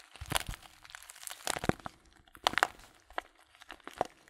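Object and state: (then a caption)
Paper tea bag crinkled by hand. A small, filled Blutorange paper tea bag is turned in the hands while fingertips crinkle and press its paper sides. The result is a series of short, dry, bright crinkles and soft crunches separated by quiet gaps, with the sharpest bursts near the middle of the clip.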